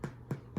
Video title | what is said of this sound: Homemade Bread, Fried Dough and Pizza Dough | When you hear it's hollow, you know it's done.